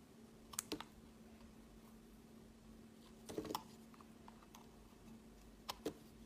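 A utility knife blade scrapes and carves thin curls off a palm-sized, solid pink speckled bar of soap held in the hand. Three clusters of short, crisp, bright scraping clicks stand out over a quiet, steady low hum, each dying away almost instantly.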